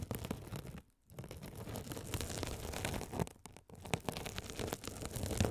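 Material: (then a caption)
Mesh, foam. A rolling gold metal spiked roller is scratched across a hand-sized blue scouring sponge with a sparkly woven glitter mesh cover, soft and solid, held over the mics. It makes a dense, rough scratching and crackling texture with a heavy low rumble and bright crisp edges. The sound drops out briefly twice, near one second and again around three and a half seconds.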